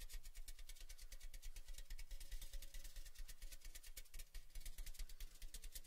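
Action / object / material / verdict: tap / large cylindrical metal gift tin / tin-plated steel / none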